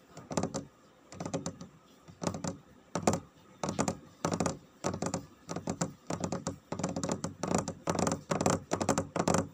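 Fingertips with nails tap rapidly on a glossy, dark, varnished wooden floor. Quick bursts of short, dull, knocking taps with a low-mid body die away almost at once, separated by brief pauses.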